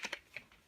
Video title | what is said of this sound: Logitech G430 Headset Unboxing | this feels pretty solid I think